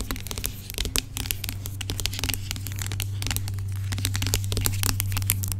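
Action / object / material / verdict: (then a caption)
tap / plastic pump bottle of gel / plastic / none. Long pink acrylic nails tap and scratch the label of a dark plastic pump bottle of aloe gel with a white pump, lying on its side and apparently filled. Quick, irregular clicky taps and bright scratchy rasps sound over a steady low hum.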